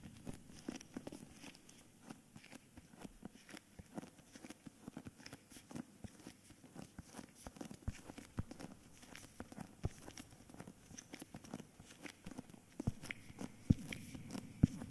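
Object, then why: Hardcover book with paper dust jacket. Fingertips and nails tap and scratch the top edge and front cover of a thick hardcover book with a paper dust jacket, held close to the microphones. Quiet, dull, irregular taps mingle with soft papery scratching and crinkling, with a few sharper taps near the end.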